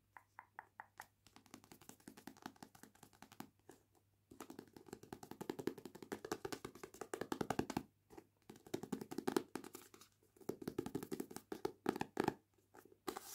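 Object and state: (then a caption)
Paperback book with glossy card cover. A medium paperback novel, a solid stack of paper with a glossy card cover, is held in the hands while long painted nails and fingertips tap and scratch the front cover, then the back cover. It starts with a few separate taps, then becomes quiet, dry, rapid clicking and scratching with a mid-range thud and almost no ring. Brief pauses break up the sound.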